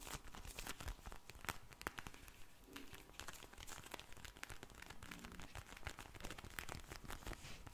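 A pink vinyl eye mask filled with gel beads, held near the mic, is squeezed and scratched with long blue nails. It gives a dense, continuous run of soft crinkling and squishy crackles with quick, bright scratchy ticks throughout.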